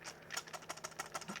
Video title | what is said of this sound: Yobo NES Game Console | you hold the controller. It rattles.